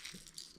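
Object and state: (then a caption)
Crankbait lure with both a knocker and BB rattles. A plastic crankbait fishing lure is shaken, giving two quick bursts of bright, tinny BB rattling over a lower, heavier knock, consistent with the lure holding both a knocker and BB rattles.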